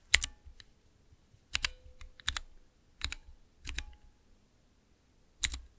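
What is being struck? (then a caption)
Clear plastic mechanical keypad. Fingertips press the keys of a small, clear acrylic 9-key Cherry MX mechanical keypad, seen from above. Sharp, bright plastic clacks come in an irregular typing rhythm, often as quick double clicks, each with a soft low thud underneath. The clicks stop dead with no ring, and near-silence falls between presses.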